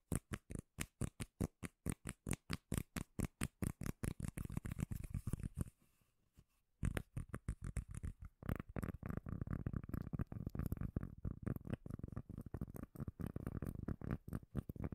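Long nails tap and scratch rapidly on the surface of a round, solid, palm-sized cork lid held close to the mic. Quick, dry, deep-sounding taps come in a steady run at first, then pause briefly before turning into a denser, continuous scratching and tapping. The result is a thick, bassy patter with almost no ring and little high-end brightness.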